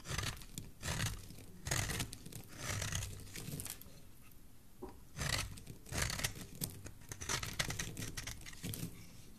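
A metal blade scrapes a solid, hand-sized green bar of soap held in the hand, cutting it into curled shavings. Repeated dry, crackly shaving strokes come in bursts with brief quiet gaps between them, each with a bright, papery rasp over a soft low body.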